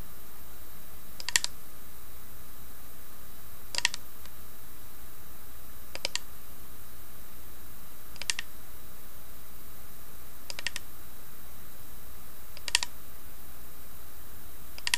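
Long painted nails tap rapidly on the carved lid of a small hollow carved wooden box resting on a bedspread. Seven short, bright clicking bursts come roughly every two seconds over a steady low hum. Each burst dies away quickly.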